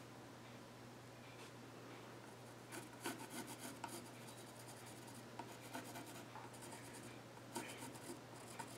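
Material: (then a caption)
Wood. The graphite tip of a wooden pencil scratches sketch lines across the flat top of a solid wooden child's stool made of reddish-brown, visibly grained wood. Quiet, dry scratching and rubbing strokes come in short bursts over a steady low hum, with brighter, sharper scrapes where the pencil bites harder.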